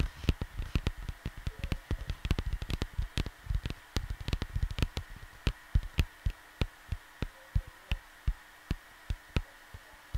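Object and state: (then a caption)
Cardboard record sleeve. Soft fingertips tap a flat cardboard vinyl record sleeve, producing dull, low thumps with almost no ring. The taps come in quick, irregular clusters at first, then slow to evenly spaced single taps. A faint steady hum sits underneath.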